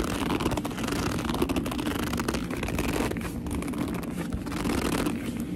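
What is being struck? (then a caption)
Leather purse. Long nails claw, scratch and grip along the top edge of a black leather purse. The result is a steady, dense run of rough scratching with squeaky rubbing, with low-end rumble beneath and brief bright streaks throughout.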